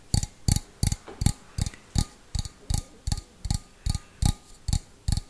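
Fingernails tap the outside wall of a small, hollow, empty stainless steel bowl held on its side, giving 14 separate taps in a slow, loosely steady rhythm. Each tap is a short, dull low knock with a bright metallic tick on top that dies away almost at once.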